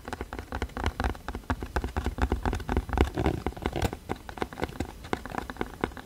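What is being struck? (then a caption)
Cardboard box. Fingertips and nails tap rapidly on the surface of a hollow, printed cardboard box held upright against the mic. The dense, irregular patter of short, dry taps carries a deep, hollow low thump under soft papery clicks, with each tap dying away almost instantly.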